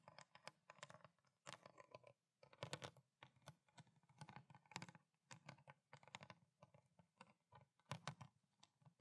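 Long black nails tap and scratch a small clear, ridged plastic water bottle with water inside, and the bottle is then tipped upright. Rapid, irregular clicky taps and scratchy bursts come in quick clusters, each with a dull low body and bright plastic crackle, dying away almost instantly with short quiet gaps between clusters.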